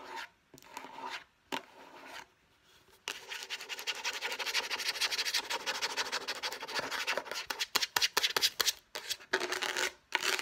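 Long painted nails tap fast on a light blue, rounded rectangular, hand-sized case of hollow hard plastic. The result is a rapid run of bright, dry clicks and scratchy rubbing, broken by a few short pauses.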